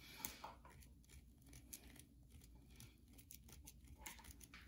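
Long nails scratch and tap the surface of a solid, carved white bar of soap held in the hand. Soft, bright scratching and crinkly scraping run throughout, broken by a few sharper, clicky taps over a faint low hum.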